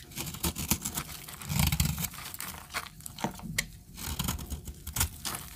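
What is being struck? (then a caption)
Bar of soap cut with a metal blade. A metal blade scrapes and cuts into a solid, palm-sized orange bar of dry soap held in one hand with long red-painted nails, shaving flakes onto a blue surface. Dry, crunchy scraping and crinkling comes in short bursts with sharp, bright clicks and a low rumbling body.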